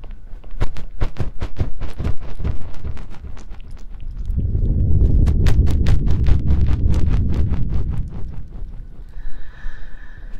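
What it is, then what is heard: Silicone ear binaural microphone. Fingertips of both hands tap and press into the ear holes of a binaural microphone with white and pink silicone ear-shaped pieces on a dark body. Rapid, uneven clip-clop-like hits with deep, muffled thuds run throughout, thickening into a dense rumbling press from about 4 to 8 seconds. The sound eases into lighter taps with a faint high tone near the end.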